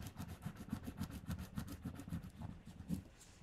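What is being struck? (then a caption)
Paper stickers on a paper sheet. Fingertips and long red-painted nails press and rub flat, thin valentine stickers down onto a sheet of pink paper lying on a table, in repeated strokes. The result is a quick, soft, somewhat uneven rubbing rhythm, mostly low and muffled, with faint bright papery swishes on each stroke.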